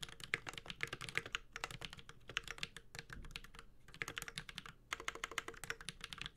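Fingertips of both hands type on a Space65 Cybervoyager 65% mechanical keyboard with a white-gold metal case, Holy Panda switches and ABS keycaps. Quick, bright, clacky keystrokes come in dense bursts with a soft low thock beneath, separated by brief pauses. Each keystroke dies away almost at once.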